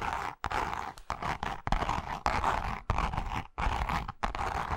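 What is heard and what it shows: Long nails scratch and tap across the surface of a pink, pebble-grain textured leather wallet with a zipper, palm-sized and flat. Dense, crunchy scraping comes in uneven bursts separated by brief silences, with a strong midrange texture and a low thump beneath each stroke.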